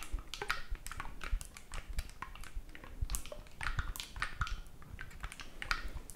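Fingertips rapidly click and tap the silver metal keys of a hollow black oboe held in both hands, without blowing into it. The result is a quick, uneven run of dry, sharp clicks, each with a bright edge and a soft low thump, dying away almost instantly.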